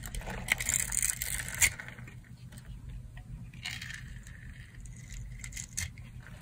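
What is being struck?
Bar of soap cut with a knife.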